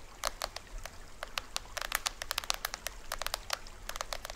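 Fingertips and nails tap the top head and green plastic rim of a small hollow plastic toy drum with a printed shell, held upright. About 25 quick, dry, irregular clicks sound, each bright and cut off almost at once, over a faint low hum.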